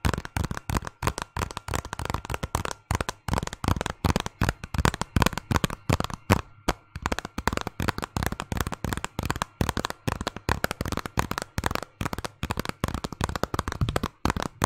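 Long fingernails tap and scratch the cover of a small, hollow, thin Zelda game case made of hard plastic with a paper insert. Rapid, irregular dry clicks and light scratching carry a hollow low knock under a brighter edge. Each tap dies away almost instantly.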